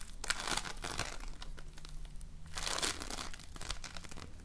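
A small, soft but solid lump of floam, slime packed with polystyrene foam beads, is squeezed and shaped between fingers. It gives off dense, quiet crinkling and crackling with many tiny rapid pops. Brighter bursts of crackle come near the start and again around the middle, over a faint steady low hum.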